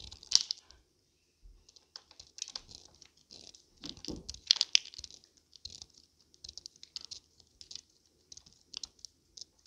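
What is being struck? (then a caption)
Soap bar shaved with a knife blade. A small, solid blue bar of dried wax soap is held in one hand and shaved into thin flakes with a metal utility knife blade, dropping into a pile of blue shavings while a second intact bar sits untouched behind it. Each cut makes a quiet, dry, crisp scraping crunch that is almost entirely high and bright, with no ring. The cuts come in short, irregular bursts with brief silences between them.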